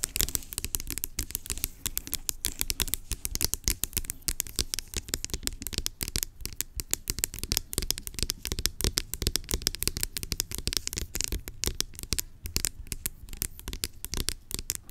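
Long acrylic nails rapidly tap and scratch the label of a large, hollow, blue-labelled plastic pump bottle lying on its side. The result is a dense, continuous stream of dry, bright clicks and scratchy rasps over a soft hollow low thud. Each tap dies away instantly with no ring.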